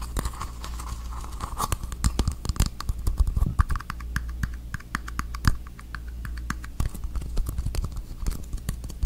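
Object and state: Plastic bottle cap, tapped and scratched.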